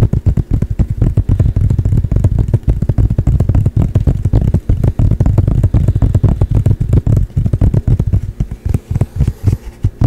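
A medium-size flat blue painted canvas panel bearing a Charizard painting, held in both hands, is tapped fast with the fingertips. The result is a rapid, dense stream of dull, low thuds with very short decay and almost no high end, continuing steadily for about ten seconds.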